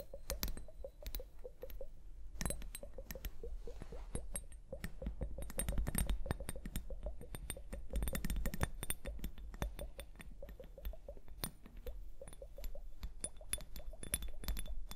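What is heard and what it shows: Long painted nails tap and click rapidly on the lower glass bulb of a small glass liquid hourglass filled with blue liquid and beads, resting on fur. The clip is a quiet, continuous stream of short, sharp, bright glassy clicks over a low, steady rumble.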